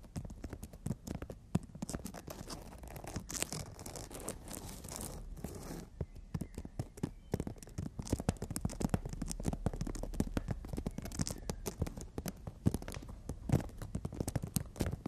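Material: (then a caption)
Emery board. Long nails scratch and tap along the abrasive surface of a horizontally held emery board nail file. A quiet, dense stream of short, dry clicks and gritty rasps comes through, with a smoother stretch of continuous scraping partway through before the rapid tapping resumes.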